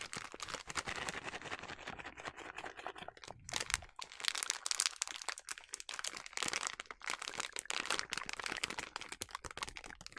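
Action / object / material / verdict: scrape / plastic snack bag filled with sliced almonds / plastic / none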